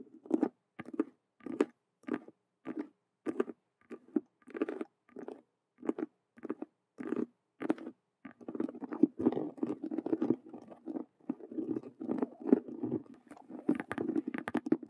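Long nails scratch and tap the stitched, colored vinyl squares of a hollow faux leather Rubik's cube handbag. It starts with separate short, dull scratchy bursts spaced apart, then turns into fast, dense, continuous scratching. The sound is a soft, papery rasp centered in the low mids, with a few brighter flicks near the end.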